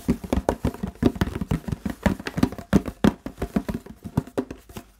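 A large, empty, hollow clear plastic Fiji water bottle is tapped and scratched with fingertips and nails on its body and label. Around 30 quick, irregular taps follow one another, each a short hollow, dull knock centered low around 190 Hz, mixed with soft scratching. The sound is close and muffled with almost no ring.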